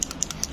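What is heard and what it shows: A small bead rattles inside a closed small plastic toy box as it is shaken, producing six quick, bright clicking taps.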